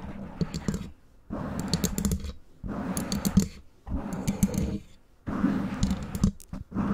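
Long nails tap and scratch quickly on both sides of a black foam windscreen covering a microphone. The sound comes in several dense bursts of muffled, low, rumbling scratches and soft thumps, with brief quiet gaps between them and faint bright clicks on top.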